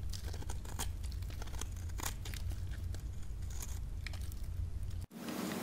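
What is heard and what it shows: A metal blade cuts and scrapes pieces from a dry, solid pink soap bar scored into cubes and held in the palm. The cutting is heard as a dense run of crisp, crumbly crunches and brittle snaps over a steady low rumble. The sound breaks off briefly near the end and then gives way to a soft, bright hiss.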